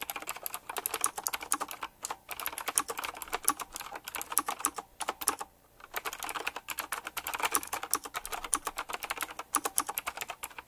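A retro typewriter-style mechanical keyboard with round plastic keycaps set in chrome rings is typed on quickly with the fingertips. Dense, fast streams of sharp, bright clicks continue for about eleven seconds, with short pauses near 2 and 5.5 seconds.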